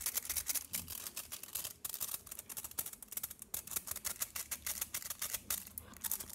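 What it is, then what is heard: Foil-wrapped chocolate bar. A solid chocolate bar wrapped in aluminium foil, held flat, is tapped quickly with fingernails along the foil top and edges. A rapid stream of crisp, bright clicks and crinkles is heard, each tap dying away almost instantly, with little low-end body.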